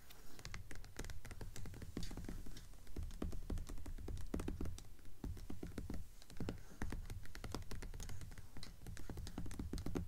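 Long fingernails tap rapidly and scratch lightly on the paper dust jacket of a flat hardcover book lying on a table. Dense, irregular clicks and short taps sound over a low, heavy thud from the cover, with soft scratchy bursts and very little ring after each hit.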